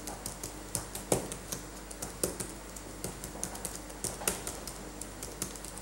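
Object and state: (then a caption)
Plastic laptop keyboard being typed on. Fingertips in latex gloves type on a dirty backlit laptop keyboard with plastic keys. A quick run of soft, sharp clicks and taps plays over a steady low hum, with a few harder, brighter strokes standing out.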